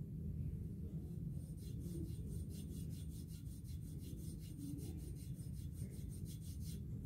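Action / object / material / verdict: scrape / coated metal music stand tube / coated metal / none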